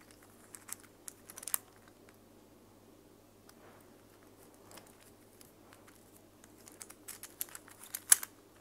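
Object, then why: Plastic infinity cube fidget toy. A small mint and pink plastic infinity cube fidget toy made of hollow plastic blocks is folded and flipped by hand with long fake nails. Soft, bright clicks and light clatters come in scattered bursts near the start and again toward the end, with a quieter stretch in between. A faint steady low hum runs underneath.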